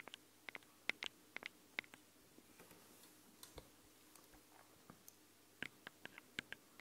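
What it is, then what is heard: Fingernails tapping metal microphone capsules. Long nail tips tap and click on the metal microphone capsules of a handheld recorder. About nineteen sharp, dry clicks with a bright metallic tone come in irregular clusters, louder at the start and end with fainter ticks in between. Each click stops instantly over a quiet hiss.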